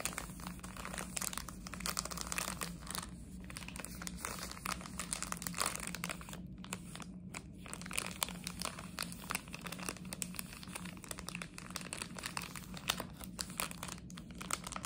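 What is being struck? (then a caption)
Thin plastic sweet wrapper. Long nails crinkle and scratch a small, flat, hollow blue and white Harry Potter chocolate frog plastic packet. The result is a dense, steady stream of bright crinkles and scratchy rubbing with no clear pauses, over a faint constant low hum.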